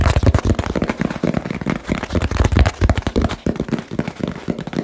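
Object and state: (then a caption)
Hollow cardboard box. Fingertips tap fast and hard on a small, hollow, labeled cardboard box. The dense, rapid patter has dull, low hollow thumps with very short decay and little high-end brightness.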